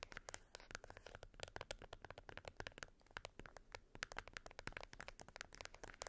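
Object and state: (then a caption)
Plastic remote control with rubber buttons. Long white almond-shaped acrylic nails tap and click the colored rubber buttons of a small, flat, black plastic LED remote control, using both hands. The remote lies on a beeswax wrap on fur. Dense, rapid, dry clicks and taps overlap with a bright, crisp edge, each one dying away almost instantly.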